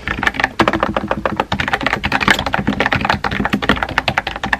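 Fingertips with painted nails type rapidly on a compact pink plastic mechanical keyboard with a hollow body and round white-and-pink typewriter-style keycaps, sitting on a desk. The result is a dense run of short, clacky key taps with a bright, hollow plastic ring that dies away almost instantly.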